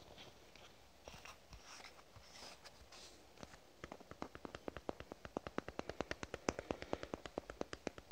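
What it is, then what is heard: Plastic squeeze tube. A lavender soft plastic squeeze tube is scratched and tapped with fingernails. Soft, hushed scratching sounds come first, then a fast run of short, dry clicking taps that grow louder toward the end.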